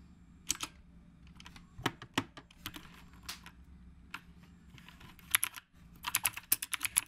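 Fingertips of both hands type continuously on a black retro typewriter-style mechanical keyboard with round plastic keycaps. The crisp, bright clicks come in an irregular rhythm over a faint low background hum, and each keystroke dies away almost instantly. The clicks grow louder and denser in a quick flurry near the end.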